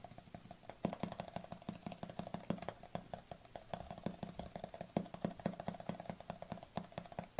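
Fingernails tap quickly on the flat lid of a white plastic supplement tub held with the lid facing outward. The result is a rapid, steady stream of short, dry, hollow clicks with a low body around 195 Hz. Each tap dies away almost instantly.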